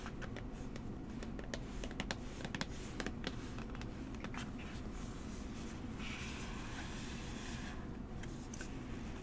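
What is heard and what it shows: A small, hollow, tall rectangular brown cardboard box for Coola tan lotion is held in one hand while long manicured nails tap and trace over it. Quick, dry, clicky taps scatter across the first half, then give way to softer scratchy tracing strokes over a steady low background hum.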